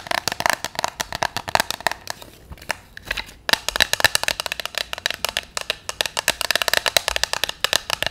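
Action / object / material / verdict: tap / clear hard plastic box of paper notes / plastic / none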